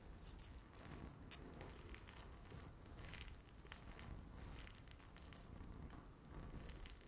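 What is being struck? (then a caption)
Speckled laminate tabletop. Long natural fingernails tap and scratch across a flat, solid, speckled granite-look laminate tabletop. The result is a steady, quiet, crackly scratching texture with a low rumble underneath and scattered bright clicks from the nail tips.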